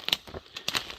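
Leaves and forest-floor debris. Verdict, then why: Dry. Dry, crispy leaves and debris on a woodlot floor crunch underfoot in several sharp, bright crackling bursts with almost no low end. The forest floor is so dry and crunchy that a chainsaw is left out of the woods to avoid the risk of starting a fire.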